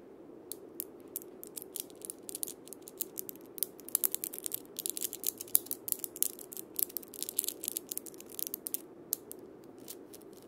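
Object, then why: Wood and steel-bead cabasa. A single wood and steel-bead cabasa is played by palm and fingers rubbing and rotating the steel bead chains around the wooden cylinder. The result is a dense, ratchet-like metallic rattle of quick, bright clicks over a soft low-mid hiss, busiest in the middle of the clip.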